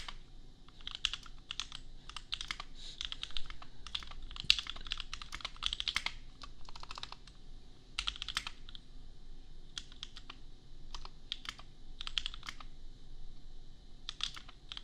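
Fingertips of both hands type in quick bursts on a compact $250 custom mechanical keyboard with Gateron Milky Yellow switches and red/pink plastic keycaps. Rapid, bright, short clacks come in clusters with brief pauses, over a low steady background hum.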